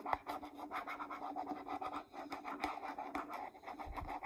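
Long nails scratch and tap across the label of a hollow green plastic Pert shampoo bottle held in the hand. The result is a quiet, continuous, dry scratching texture centered in the midrange, broken by short, sharp, bright taps that die away almost instantly.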